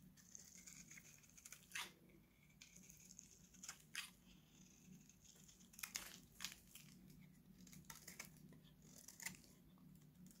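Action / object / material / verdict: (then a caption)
scrape / bar soap shaved with a steel blade / soap / none. A dry, solid oval pink Nivea bar soap, held in one hand, is shaved with a steel utility knife blade, and dry flakes fall off. Crisp, bright scraping and crunching strokes come in irregular bursts over a steady low hum.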